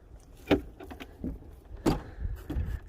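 A hand taps the plastic front body panel of an Aixam Coupé microcar. A series of dull, low thuds stops quickly, with almost no ring and little brightness.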